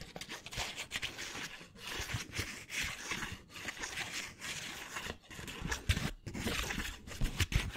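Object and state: Paper banknote.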